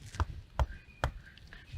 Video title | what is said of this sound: #AprendoEnCasa Sociales: Relación del clima y la biodiversidad de mi región (Cuarto Año Primaria) | si golpeamos su tronco podemos notar que se escucha hueco pero porque está hueco este árbol llamado guarumo